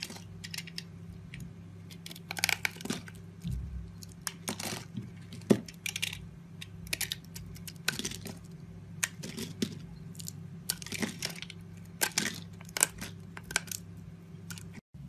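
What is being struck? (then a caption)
Bar of soap. A solid pale yellow soap bar with scored lines, held in the hand, is cut into strips with a utility knife blade. Crisp, crunchy scraping and cutting strokes come in quick, irregular bursts with bright, short-lived edges. A steady low hum sits underneath throughout.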